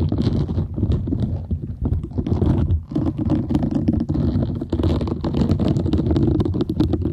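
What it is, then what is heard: Silicone scrubber sponge. A palm-sized, round green silicone scrubber sponge with small bristles, solid and flexible, is held close to the microphone while long nails scratch and tap its bristle side. This produces a dense, continuous low rumbling scratch, broken by rapid soft ticks and brief brighter clicks, for about seven seconds.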